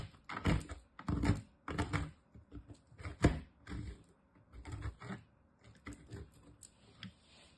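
A solid green-and-white bar of soap, held in the fingers, is grated again and again against a metal box grater, producing shavings. Each stroke gives a soft, dull, low scraping rasp with a faint bright edge. The rasps come in an uneven, repeated rhythm and die away quickly between strokes.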